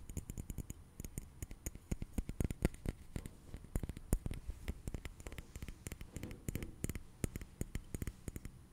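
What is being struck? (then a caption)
Liquid-filled glass massage globe. A small, blue, liquid-filled glass facial ice globe, a massage globe, is held in front of the microphone and tapped quickly with an index fingertip and nail. It produces a rapid, irregular stream of short, dry clicks with soft low thuds and faint bright ticks. Each tap dies away almost instantly.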